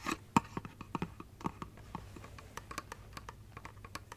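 Long nails tap and scratch the glittery base and body of a hollow glass light-up Christmas tree figurine held close to the mic. A rapid series of quiet, dry clicks and brief glassy ticks plays over a soft scratchy rustle, with one louder tap near the start. Each tap dies away almost instantly.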